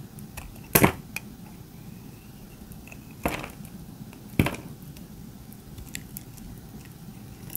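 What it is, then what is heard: Dry soap bar scraped with a blade. A metal utility-knife blade scrapes and shaves the surface of a hand-sized, solid pink dry soap bar held in the fingers, flaking off brittle, crunchy chips. Three main dry, crackling scrapes stand out, with fainter ticks and crumbles between them over a low, steady background hiss. Each scrape is short and bright, and it cuts off quickly with almost no ring.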